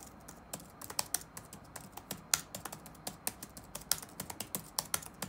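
Fingertips type rapid key taps on the black plastic keys of an open laptop resting on a wooden desk. About 21 short, bright clicks with almost no ring land in an uneven rhythm over a faint background hiss.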